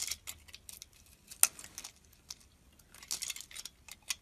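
A metal blade scrapes thin strips and shavings off the surface of a square, solid white soap bar held in the palm. Quiet, bright, crisp scraping ticks come in irregular bursts, with one sharper, louder click near the middle. Each scrape stops almost instantly, with no ring and very little low end.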